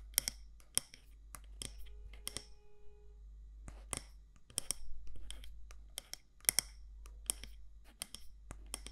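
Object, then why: Glass or ceramic candle jar. Long nails tap and scratch the side walls of a medium matte black candle jar with a gold lid, possibly glass or ceramic, held in the hand. Short, sharp, bright clicks come in quick irregular bursts with softer scratchy rustles between them. A steady low hum runs underneath throughout.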